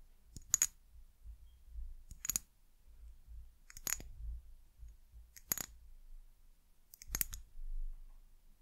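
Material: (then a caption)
Glass. Long nails tap the glass sides of an amber glass bottle with a white cap. The taps come in five short, bright, clicky bursts with almost no ring. A faint low rumble fills the gaps between them.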